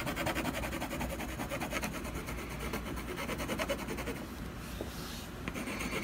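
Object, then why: Colored pencil on a canvas panel. A brown colored pencil makes quick scratching strokes across a solid canvas panel near a drawn owl. The result is a steady, dry, rhythmic rasping with a soft hissy texture over a constant low hum. It grows quieter and smoother toward the end.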